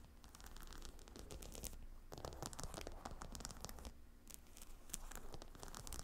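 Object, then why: Heat pillow with stone tiles set in leather. Long painted nails scratch and tap the glossy dark brown hexagonal stone tiles of a long cylindrical gemstone hot stone heat pillow set in beige faux-croc leather. Rapid, dense scratching mixes with sharp, bright clicks over a steady low rumble, easing briefly around the four-second mark before picking up again.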